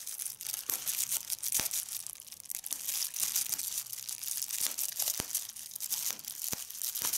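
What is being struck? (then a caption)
Plastic bubble wrap. Fingertips and long nails pinch and pop bubbles on clear plastic bubble wrap rolled into a fold, crinkling the film. Sharp, dry pops cut through a steady, bright crackle that sits almost entirely in the high range, with each snap dying away instantly.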